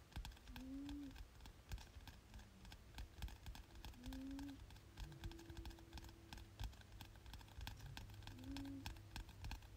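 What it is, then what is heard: Paperback textbook. Fingertips tap rapidly on the cover of a glossy softcover paperback textbook lying flat, solid paper underneath. The result is a fast, continuous patter of soft, dull taps that die away almost instantly, heavy in the low end over a steady low hum. A brief tonal glide recurs a few times in the background.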